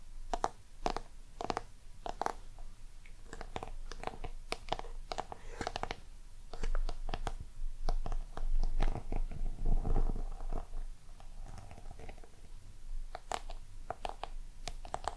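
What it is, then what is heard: Hollow faux-leather covered box. A small, hollow, round lidded box covered in a glossy black crocodile-texture finish is tapped and scratched with long purple-painted nails. Quick, uneven clicking taps sound over scratchy friction, with a low hollow rumble swelling in the middle of the clip.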